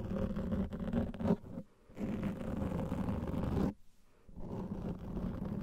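Fingernails scratch the top and sides of a large black foam microphone windscreen, making a dense, muffled, low scratching and rubbing sound. Two short pauses break the otherwise steady scraping.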